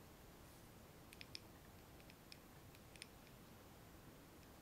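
A small glass candle jar filled with solid wax, its candle lit, is held in both hands and tapped on the glass with long nails. Faint, irregular, bright clicks ring briefly and fade almost at once over a quiet, steady hiss.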